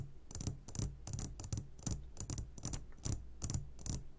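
A medium glass jar, upside down and full of sugared gummy candies, is tapped on its sides with the short fingertips of both hands. Thirteen quick taps come in an uneven rhythm, each a dull low thump with a bright clicky top that dies away almost instantly.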